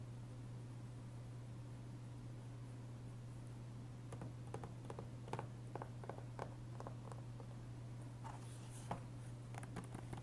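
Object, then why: Plastic game case. A fingertip taps and traces the cover of a closed, hollow, blue-tinted plastic PS3 game case (GTA IV) resting on a wooden table, then a flat hand rubs across it before the case is lifted and handled. After about four seconds of only a steady low hum, soft, short clicks and scratchy brushing sounds begin, staying quiet over the constant hum.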